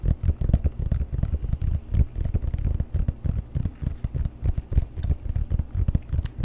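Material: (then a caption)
Rubber. Fingertips and nails tap and scratch the rubber sole of a leather boat shoe held upside down with the sole facing the mic. The result is a quick, uneven run of dull, low, muffled thumps with soft scratchy texture between them, each dying away almost instantly with no ring.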